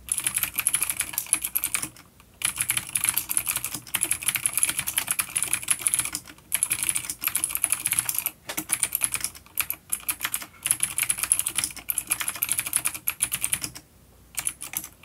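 Fingertips of both hands type steadily on a full-size dark plastic vintage mechanical keyboard with clicky blue switches and grey keycaps, resting on a wooden desk. Rapid, bright, sharp clicks come in dense bursts with brief pauses between them, each click dying away almost instantly with little low-end weight.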